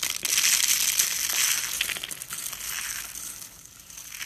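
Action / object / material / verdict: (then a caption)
scrape / soap shavings / soap / none. A bare hand scoops, presses and crushes a heap of thin, brittle, dry white soap shavings between the fingers and palm on a countertop. It makes a dense, bright, crackling crunch with almost no low end. The crunch is loudest in the first two seconds, then thins into a quieter, fading crackle.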